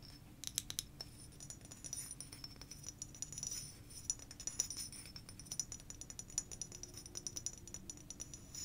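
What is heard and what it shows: Long fingernails tap and scratch across the surface of a medium blue frosted glass sake bottle with a paper label and cap, held closed in the hands. A quiet stream of quick, bright glassy clicks rides over a soft scratching hiss, each tap dying away almost at once with a faint high ring.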